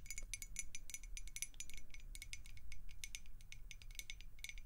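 A clear, hollow glass beer mug with a handle, partly filled with water and held in the hands, is tapped and scratched with long acrylic nails. A steady stream of quick, bright glassy clicks and pings rings over a low, soft background rumble.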